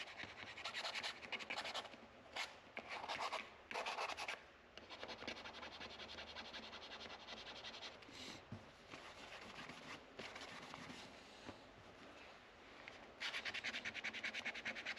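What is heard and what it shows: Fingers scrub a small white sanding pad back and forth over the metal frets near the headstock of a solid wooden guitar neck with a dark fretboard. The result is bright, raspy scratching in loud bursts at the start and end, with a quieter, steady rubbing in between.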